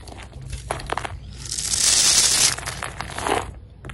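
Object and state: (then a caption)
Soap bar being scraped. A utility knife blade scrapes scored cubes and strips off a solid green Marseille soap bar held in the hand. Short, dry, crumbly scrapes and crackles come first, then build into a longer, louder, bright shaving rasp midway, before tapering into a few softer scrapes.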